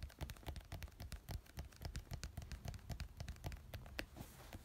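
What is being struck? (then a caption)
Small plastic glue bottle. A fingertip and index-finger nail rapidly tap and scratch the label side of a small white plastic glue bottle with a teal label, lying on a yellow cloth. Quiet, irregular, fast taps each give a dull low thump with a short, bright click and almost no ring, mixed with soft scratching.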